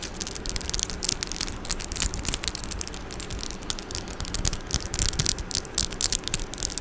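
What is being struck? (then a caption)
Metal mesh microphone grille. Long orange nails scratch and tap the metal mesh grille of a silver microphone with both hands. The result is a dense, continuous stream of bright, crackling scratches and quick ticks over a low, rumbling bed, steady in level throughout.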